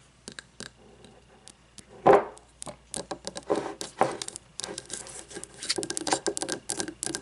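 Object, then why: Frosted glass candle jar with wax. Long fingernails tap and scratch on a frosted glass candle jar filled with wax, moving between the glass and its paper label. Faint scattered clicks give way to a louder, ringing tap around two seconds in. From about halfway through, a denser run of quick, bright taps and scratchy rubs follows, each dying away almost at once.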